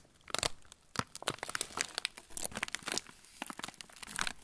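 Fingertips crush and crinkle the loose, crumpled end of a yellow plastic-film TUC cracker packet. Dense, bright crackles and crinkles come in quick irregular bursts with sharp, dry snaps and no ring, heavy in the high range with little low end.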